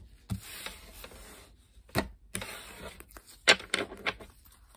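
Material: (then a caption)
Paper. A blue-backed coated paper playing card deck is picked up from a wooden table, and long pink nails press and square it before the cards are bent and riffle-shuffled in both hands. Bright, papery fluttering and hissing rise and fall, broken by a series of short, sharp card snaps and taps, with little low-end weight.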